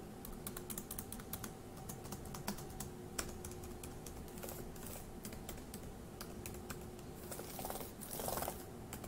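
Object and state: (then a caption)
Plastic laptop keyboard. An index fingertip taps individual plastic keys on a dark grey laptop keyboard, producing a quick, uneven series of short, bright clicks over a low, steady hum. Near the end, a couple of louder, broader bursts briefly rise above the tapping.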